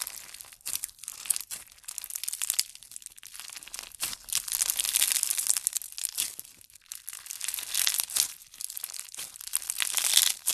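A handful of clear yellow slime packed with plastic fishbowl beads is squeezed and kneaded with the thumbs. It gives dense, bright crunching and crackling in uneven bursts with short quiet gaps, thin and high with almost no low end.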